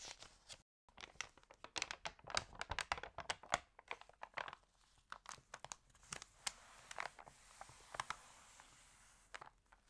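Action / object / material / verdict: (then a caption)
scrape / glossy paper magazine pages / paper / none. Long nails and fingertips rub, crinkle and turn the wavy pages of an open, water-damaged glossy Style at Home paper magazine lying on a green table. Quiet, dense bursts of bright, dry crinkling and crackling come in quick succession, with a brief silent gap near the start. Toward the end they thin into a soft papery hiss with scattered sharper crackles.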